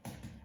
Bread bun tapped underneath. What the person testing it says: they are sounding quite hollow